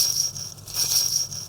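A BVLGARI Octo Finissimo Ultra COSC, an ultra-thin mechanical wristwatch only 1.70 mm thick, is shaken so its peripheral rotor, mounted around the outside of the movement to wind the watch, spins normally. The result is a faint, high-pitched whirring rattle, almost entirely above 2 kHz with a thin tone, rising and falling in brief surges.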